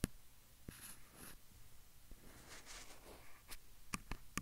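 Fingertips and nails tap and scratch rapidly on the top and sides of a hand-sized, hollow-bodied black plastic handheld field recorder. Soft, brushy scratching with bright, hissy bursts runs throughout the quiet clip, punctuated by a few sharp, dry taps with a low thump and no ring.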